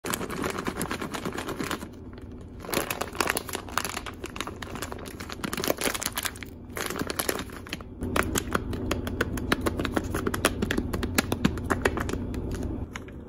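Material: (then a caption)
Plastic. A medium printed plastic snack bag full of crispy fried pork nuggets is held in both hands and squeezed and massaged with the fingertips. The bag gives a steady, dense crinkle while the pieces inside crunch in quick, tight bursts. Brief quieter gaps fall near 2 and 7 seconds before the squeezing picks up again.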